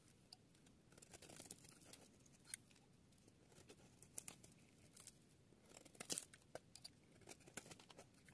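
A solid, dry, oval yellow bar of soap is held in a hand with long green patterned nails while a metal utility-knife blade shaves and scrapes curls off its edge, played at double speed. Dry, crunchy scraping and crinkling come through with many sharp, bright crackles and snaps over a quiet background. Thin curls of soap peel away from the bar's edge.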